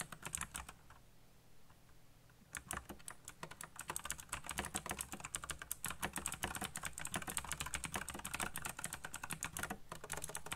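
Fingertips type on the keycaps of a backlit black plastic mechanical keyboard. A few scattered keystrokes come first, then a short lull, then fast, continuous typing from about 2.5 seconds on. The keys make bright, crisp clacks over a steady low hum.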